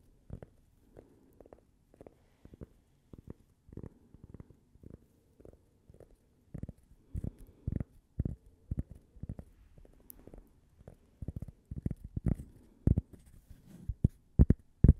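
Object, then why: Flat cork coaster. A flat, solid cork coaster shaped like a slice of toast and bearing a "Gibi" logo is held in both hands and tapped and scratched with long painted fingernails. The taps come as soft, dull, low thuds that die away almost instantly, spaced irregularly with faint scratching between them. They grow louder and more frequent toward the end.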